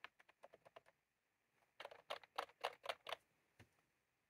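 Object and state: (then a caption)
Plastic mechanical keyboard. Both hands type continuously with their fingertips on a plastic mechanical keyboard with round keycaps. A quick run of light, crisp clicks is followed by a short pause, then a louder, denser burst of key taps and one final isolated tap.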